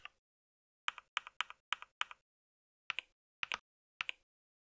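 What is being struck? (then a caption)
Plastic mechanical keyboard keys. Fingertips type on a compact white mechanical keyboard with plastic keycaps, making nine bright, crisp key taps in short bursts with brief pauses between them. Each tap clacks sharply, then gives a quick second click as the key returns, and the sound dies away almost at once.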